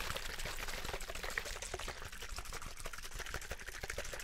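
A hollow, clear plastic drinking bottle holding some liquid is held up and shaken while fingertips tap and squeeze it. A steady stream of quick, crinkly plastic taps and crackles runs over a faint liquid slosh, with bright, papery detail on top and no pauses.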